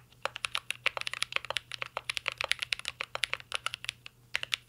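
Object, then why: Mechanical keyboard with metal case and plastic keycaps. Fingertips of both hands type continuously on a mint green Cyberboard R3 mechanical keyboard with a metal case and plastic keycaps. About 34 quick, sharp keystrokes come through as crisp, bright clacks with almost no ring, fast and slightly uneven in rhythm.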